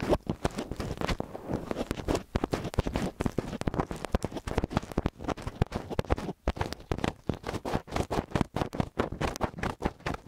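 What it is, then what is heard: Fingernails scratching metal microphone capsules. Fingertips and short nails scratch and press directly on small silver metal stereo microphone capsules mounted on a white stand. The result is a dense run of close, dull thumps and scratchy rustles, heavy in the low end with almost no high content. Each touch stops dead, and the bursts keep coming without a break.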